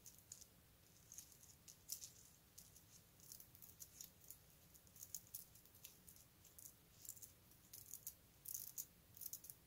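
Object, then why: Strand of small wooden beads. A long strand of small solid wooden beads on a necklace is held up and handled with the fingertips so the beads shake and rattle against each other. The result is a quiet, dry, high clicking rattle in irregular bursts with a steady low hum beneath.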